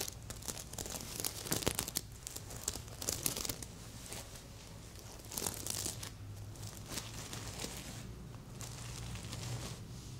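Fingernails scratch across a medium, soft stuffed heart-shaped pillow covered in reversible plastic sequins, flipping them over. The result is a run of bright, crinkly, tearing-like rasps in bursts, with a quieter stretch in the middle, over a steady low hum.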